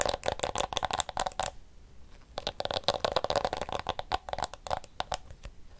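A small handheld blue plastic detangling hairbrush with pink flexible plastic teeth is strummed and scratched with fingernails. Rapid, crisp plastic clicks and ticks flick off the teeth in quick runs, with a brief pause in the middle before the strumming resumes. Each tick is bright and dies away almost instantly, with almost no low end.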